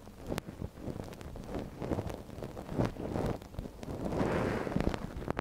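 A gloved hand scratches the canal of a small, hollow white silicone dummy ear on a binaural microphone with a thin wooden ear pick. Close, muffled scratching and rustling are heard with a deep, boomy low end, broken by sharp short clicks and scrapes. A brief swell of louder, grainier rubbing builds near the end.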